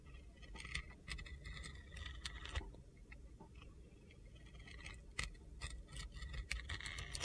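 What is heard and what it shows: A steel utility knife scrapes and slices layers off a solid red-yellow glitter soap bar held in the hand. Gritty, crackly scraping runs throughout, broken by sharp, bright clicks and snaps over a low, steady rumble.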